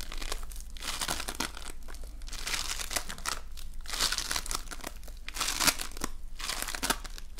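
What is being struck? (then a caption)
Foam bead slime. An oval lump of multicolored foam bead slime (floam) is kneaded and squeezed by fingertips and nails. It gives off dense, bright crackling and crunching in repeated waves as the beads pop and rub against each other, over a steady low hum.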